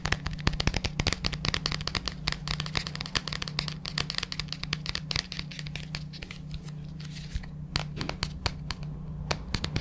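A large, hollow white plastic supplement tub with a printed label is held in both hands close to the mic and tapped and scratched with the fingertips on its sides and base. Rapid, dry, bright taps with a very short ring mix with scratchy rustling, over a steady low hum that runs through the whole clip.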